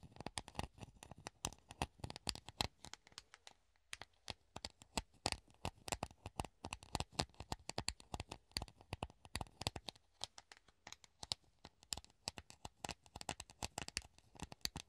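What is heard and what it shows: A hollow clear plastic funnel held in the hand is scratched and tapped with the nails. Quick, irregular bursts of sharp, dry clicks and scratchy strokes carry a bright plastic edge and die away almost instantly. Brief quiet gaps come near 4 and 10 seconds.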